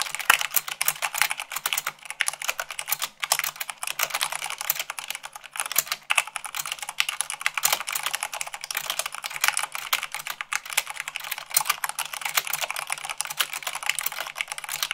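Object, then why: Plastic mechanical keyboard keys. Fast typing with fingertips and long nails on a black plastic mechanical keyboard with white plastic keycaps. Dense, rapid clicky keystrokes run steadily throughout, each a bright, sharp tick with almost no ring and no low-end body.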